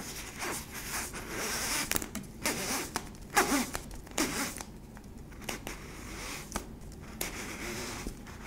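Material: Plastic.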